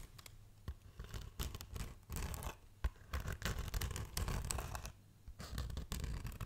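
Long nails scratch and rub the textured surface of a black polyethylene foam packaging insert held close up. The result is dry, broadband scratching and squeaking in uneven bursts with short pauses, over a low, rumbling body.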